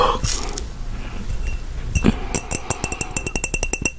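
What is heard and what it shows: An empty, medium-size clear glass mason jar, hollow and held in one hand, is tapped with the fingernails and fingertips of the other hand. Soft, scattered taps at first give way to a steady run of quick, crisp clicks and bright glassy clinks over a low thump. The taps stop short with almost no ring, with one louder knock near the middle.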